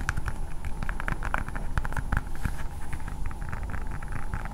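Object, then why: Hard plastic toy ball. Long painted nails tap and scratch a hand-sized, hard blue plastic ball with a Spider-Man sticker on it. Rapid, light clicky taps and scratchy strokes run continuously over a steady low rumble.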